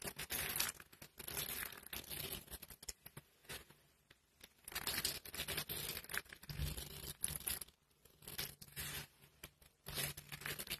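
Pink dry soap shavings are scooped up in cupped hands and crushed between the palms. It makes bursts of dry, crisp crunching and crinkling with a bright, hissy edge, broken by short quiet pauses.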